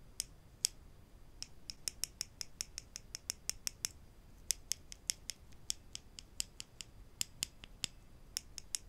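Small solid wooden clothespins with metal springs, held in both hands above a wooden table, are tapped against each other and snapped open and shut with the fingers. The result is a quiet series of 34 sharp, dry, bright clicks at an irregular quick pace, each dying away almost instantly, with almost no low end.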